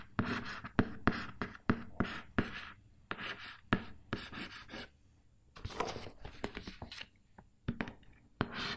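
A fingernail scratches and traces across the front face of a closed, hollow, printed cardboard loaf pan box held up in the air. The result is a quiet series of short, dry scratching strokes with sharp clicks, a hollow low body and a bright rasp, with brief pauses between bursts.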